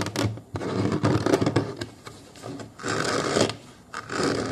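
Fingers of both hands scratch and rub along the plastic ridge near the foam-covered bottom edge of a hollow molded plastic booster car seat base. The result is irregular bursts of dry, broadband scraping and rubbing that swell and fade, with brief quieter gaps between passes.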